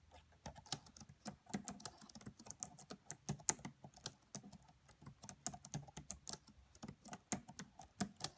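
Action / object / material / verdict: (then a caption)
tap / plastic laptop keyboard keys / plastic / none. Both hands type on a red laptop's black plastic chiclet keys, tapping with the fingertips and long French-manicured nails. The result is a quiet, steady stream of quick, dry clicks, with a bright, high tick on each tap and a soft hollow thump around 200 Hz from the device body.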